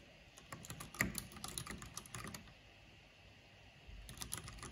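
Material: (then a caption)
Plastic. Fingertips and long nails type continuously on a black plastic mechanical keyboard with a purple backlight, tapping the keys in quick bursts of short, bright clicks with a soft low thud under each press. The typing pauses briefly near the middle, then resumes with a few more clicks.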